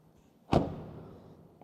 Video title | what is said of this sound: Dacia Spring Electric 2024 : Qui achètera cette voiture électrique? | sonne comme une porte solide pas si métallique comme une légère normalement